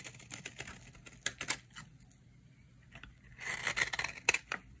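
A small, solid, cream-colored bar of dry vintage soap, held in hands with long red nails, is scraped and carved with a metal knife blade. Irregular, dry, bright scraping strokes and crisp crumbling crackles come quickly, with a busier burst near the end. Flakes crumble off onto a pile of soap shavings.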